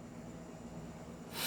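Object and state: Nothing is struck.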